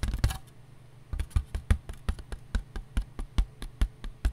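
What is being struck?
Disposable paper plate.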